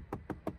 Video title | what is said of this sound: TOYOTA YARIS 1.5 HYBRID GR SPORT 2023 - TEST PL 4K | as if there was only air between the trim and the base, without any foam. The door is completely hard